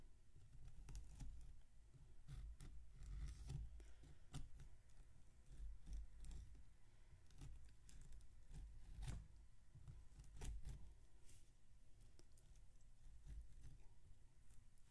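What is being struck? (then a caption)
Block of packed damp sand. A white knife, possibly plastic, cuts and scrapes through a solid block of damp packed sand on a metal tray while fingertips hold the block steady. Quiet, crunchy scrapes and short bright crackles come in a steady series of many strokes over a low rumble.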